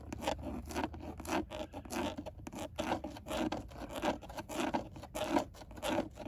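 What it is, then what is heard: Plastic steering wheel airbag cover. Long nails scratch and tap on the textured black plastic airbag cover of a car steering wheel, a hollow, rigid panel. Short, rough scratching strokes come in an uneven rhythm, each a dry, raspy burst centered in the mid range with a slightly hollow tone and almost no ring.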